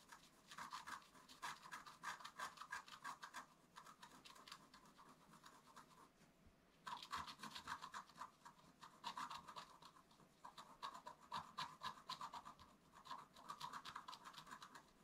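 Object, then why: Black-coated scratch-art card scratched with a wooden stick. A wooden stick scratches lightly across a flat black-coated scratch-art card, making bursts of quick, dry scraping strokes about four per second. The rasp is bright and papery, centered near 1 kHz, with a short quiet pause around the middle before the scratching resumes.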